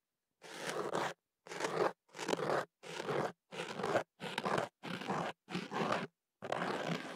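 A thin ear pick scratches and scrapes inside the open end of a hollow white kenaf paper tube wrapped around a microphone. Nine separate bursts of dense, crunchy, papery scraping are heard, with near silence between them. The midrange is full and a bright hiss runs on top.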